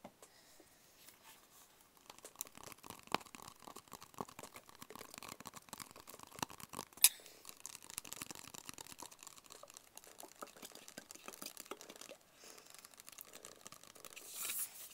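A small, closed, hollow black cardboard gift box is held in both hands and tapped with the fingertips. The result is a quiet, dense patter of light, dry taps that are bright and papery, with almost no low end and very short decay. One sharper tap stands out near the middle, and a brief scratchy swell closes the clip.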